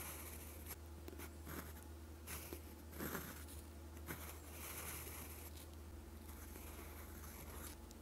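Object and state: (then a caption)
Pen nib writing on lined paper. A steel fountain pen nib with a gold section, held in fingers, scratches across a flat sheet of lined writing paper on a desk while writing Korean letters in green ink. Soft, bright scratching strokes come in short bursts over a steady low hum.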